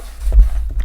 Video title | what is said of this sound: Kiwi Design Carrying Case For Meta Quest 2 - Unboxing, Assembly, Review | you can hear a little bit if I can shake it in One Direction